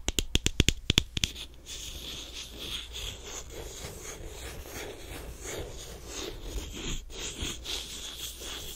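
A small white plastic lotion squeeze tube held in one hand is tapped about ten times by fingernails in quick, sharp clicks. Then the nails scratch steadily along its surface for the rest of the clip, making a soft, bright, raspy texture over a low hum.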